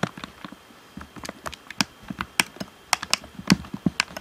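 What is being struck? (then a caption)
Plastic game controller. Fingertips tap the hollow shell of a black plastic Xbox One controller and press its buttons and d-pad. About eighteen quick, dry clicks and taps are heard at an uneven pace, each with a crisp high tick and a soft hollow low knock that dies away at once.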